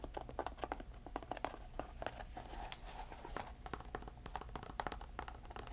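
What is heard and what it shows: Long nails scratch and tap a small grey canvas shoe with velcro straps and a white rubber sole, held in the hand, hollow and empty, with some velcro tearing. Quick, dry, closely spaced taps and rasping scratches stop almost at once, each carrying a faint midrange tone near 840 Hz over a steady low hum.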